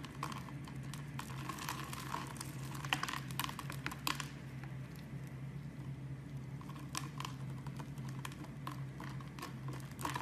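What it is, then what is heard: Bar soap being carved. A metal blade scrapes and carves grid-cut cubes off the face of a hand-sized, solid amber translucent bar of soap held in the hand. Quiet, crisp scratchy clicks and crackles come in quick clusters, busiest around three to four seconds in and again near the end. A steady low hum runs underneath throughout.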